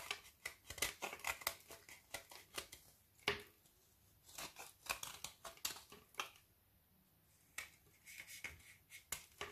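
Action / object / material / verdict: scrape / frozen milk chocolate bar scraped with a metal knife / chocolate / none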